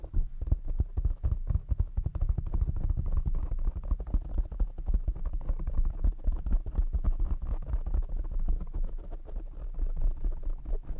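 Fingertips and short nails of both hands tap and scratch a black foam windscreen on a desktop microphone. Fast, dense, muffled thumps and rubbing fill the clip, almost all deep low energy with no high content. Each hit is dry and dies away instantly.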